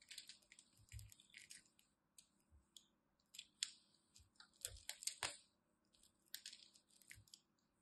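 A small blade chips cubes from the scored edge of a solid blue and white striped dry bar soap held in the fingers, and they crumble off with crunching cuts. Quiet, dry, bright crunches and crackles come in irregular bursts, some with a faint low thump, each dying away at once with no ring.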